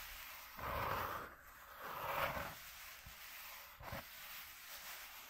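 Fingertips tap and scratch a flat white corrugated cardboard sheet lying on black cloth. Two longer, swelling bursts of dry, papery scratching are followed by a brief sharper tap, with a faint hiss in between. The sound is soft and close, bright and rasping rather than deep.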